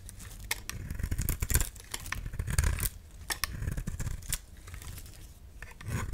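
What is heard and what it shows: A solid peach-colored bar of soap held in the hand is scraped with a utility knife blade, shaving off crumbly pieces. Short, dry scraping and crackling strokes repeat throughout, with bright clicks over a low, muffled rumble.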